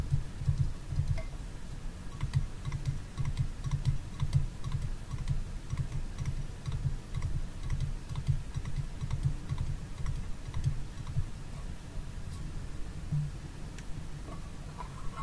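A small red TWG metal tea tin is held on its side while fingernails tap and scratch its base and body. The result is a steady, irregular stream of soft, low, dull taps with light scratching and very little ring.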